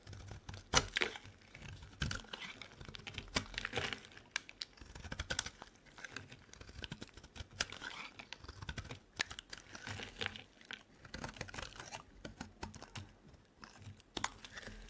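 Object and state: Bar of soap being shaved with a blade.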